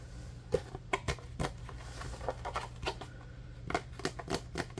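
A small rectangular, translucent green plastic food storage container, hollow and apparently empty, is held in both hands and tapped and scratched with fingertips and nails. It makes an irregular series of short, dry clicks and taps with hollow plastic resonance and little ring, over a steady low hum.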